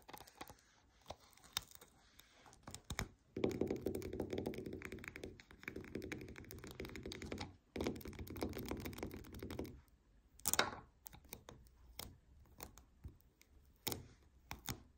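Long nails tap and scratch the adhesive paper surface of a white paper lint roller with a plastic handle and hollow core, lying on a table. Scattered light, dry taps give way to several seconds of continuous, rasping scratching in steady bursts, then return to sparse, crisp taps with a bright edge.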